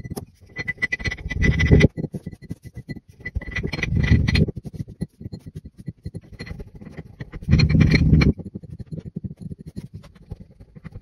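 A wooden muddler repeatedly presses and tamps pink and green kinetic sand in a tall clear glass pint cup that is partly full, crushing and packing it down. Dense, low crunching and squeaking thuds come in three louder bursts, separated by quieter, rapid packing taps, with a faint high glassy tone above.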